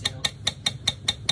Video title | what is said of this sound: Unboxing my Metal Cash App Card | it sounds like metal